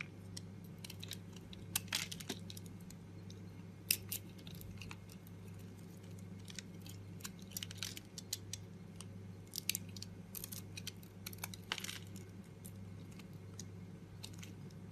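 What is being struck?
Bar of soap.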